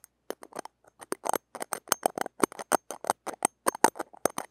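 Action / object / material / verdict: scrape / small steel wire-mesh microphone grille / steel mesh / none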